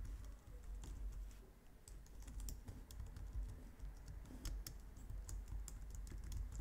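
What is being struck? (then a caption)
Plastic computer keyboard. Both hands type steadily on a white plastic low-profile wireless keyboard, striking the keys with long painted nails and fingertips. Quick, soft plastic clicks and bright nail ticks run continuously over a faint low rumble, each tap dying away quickly.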